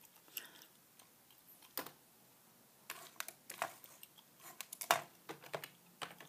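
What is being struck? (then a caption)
Plastic computer keyboard. Fingertips type and tap on the keys of a beige, full-size plastic keyboard with a hollow body. Soft, irregular clicks come in scattered bursts with short pauses between them. Each sharp, bright tick dies away almost at once and has no low-end weight.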